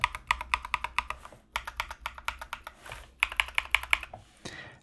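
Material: Plastic.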